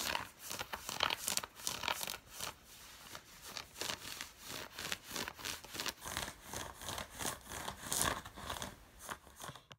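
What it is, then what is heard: Cotton fleece sweatpants. Long fingernails of both hands scratch the fabric of worn grey drawstring cotton fleece sweatpants. The result is a steady run of quick, dry, raspy strokes that sound bright and hissy, with almost no low end. Each stroke stops at once with no ring.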